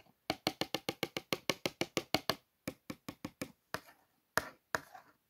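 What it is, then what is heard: Cardboard toothpaste box. Long nails and fingertips trace and scratch along the printed letters of a small, hollow, closed cardboard Colgate toothpaste carton. The result is 22 quick, dry, bright clicks: a fast steady run, then a sparser stretch ending in a few looser, scratchier strokes.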